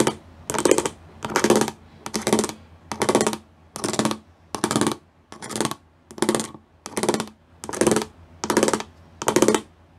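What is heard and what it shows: Fingertips and nails tap and scratch over the studs of a gray plastic studded sheet. A steady series of short, bright, crackly rasps sounds roughly every 0.8 seconds, each with a faint hollow plastic tone underneath and quick silence between passes.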